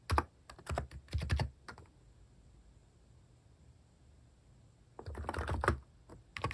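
Fingertips type on a compact electro-capacitive keyboard with pink, cream and brown plastic cat-themed keycaps and a solid housing, resting on a wooden desk. Bursts of soft, short, deep keystroke thuds with brief bright clicks come at the start and again near the end, separated by a quiet pause of about three seconds.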